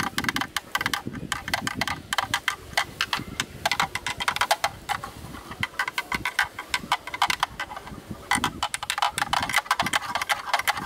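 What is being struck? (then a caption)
Plastic camera lens hood. A thin bamboo stick taps rapidly on the round bayonet ring of a hollow black plastic camera lens hood, seen from the mount side. The taps are short, dry, hollow clicks with a bright, woody tone centered around 1.6 kHz and almost no ring, coming in quick bursts with brief pauses between them.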